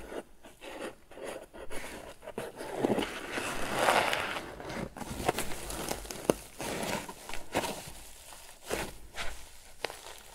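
Fingertips and short nails scratch and rub the top of a hollow, medium lidded rectangular basket crocheted from grey paper or jute twine, with a toggle button at the front. The sound is a soft, continuous rough scraping and crinkling, broken by brief, sharp scratchy ticks.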